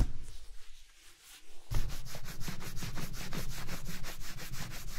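A cloth strip is buffed briskly across the toe of a worn black leather ankle boot, then hands rub the side of the boot. Soft, uneven rubbing gives way after about two seconds to a steady, fast back-and-forth swishing of smooth leather, with a bright hiss over a low rumble.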